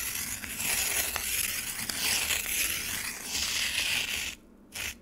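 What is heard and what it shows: A metal spoon scrapes across the surface of a frozen lemonade slab in a black plastic tray, piling up slushy shavings. A bright, crunchy, hissing scrape runs almost continuously for about four seconds, drops to near silence, then returns in one short final scrape.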